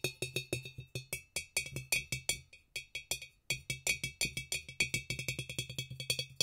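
A large, empty, clear glass gallon jug with a small handle, standing on a speckled floor, is tapped on its round body with fingertips and nails. It gives dozens of quick, bright, glassy clinks with a short high ring and a faint low thump under each, in an irregular rhythm with a brief pause near the middle before the tapping speeds up.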